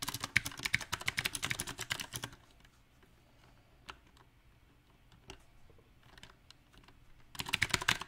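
Fingertips of both hands type on a compact backlit mechanical keyboard with round plastic typewriter-style keycaps. A fast burst of bright, sharp clacks gives way to sparse, scattered single taps with quiet gaps between them. A second rapid flurry of clicks comes in at the end.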